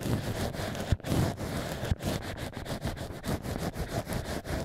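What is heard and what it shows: Black ear picks scratch inside the drilled holes of solid cork wine-stopper pieces made into a mock ear, giving a steady run of low, rumbling scrapes and rustles. Two sharper dull knocks stand out near the first and second seconds among the continuous scratching.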